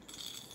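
A small toy bear with a rattle inside, bought for a baby niece, is shaken, giving a quiet, bright, jingly rattle centered high around 3.3 kHz with almost no low end. The rattling runs steadily through the short clip and fades slightly at the end.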